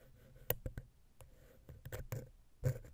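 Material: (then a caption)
Metal. A wooden ear pick, held vertically, taps and scratches between the heads of a small, hollow, silver metal X/Y microphone capsule on a Zoom H6. About nine short, dull, close-up taps sound heavy in the low end, with a faint hollow tone near 500 Hz and no lingering ring. Soft scraping fills the gaps between them.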